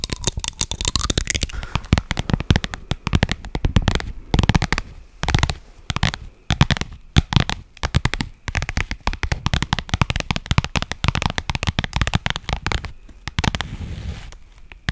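A flat, padded pink faux leather makeup pouch held close to a microphone is scratched and tapped on its surface with long nails. Dense, rapid crackling scratches and soft thumpy taps come in bursts, with a strong low-end body and brief pauses between clusters.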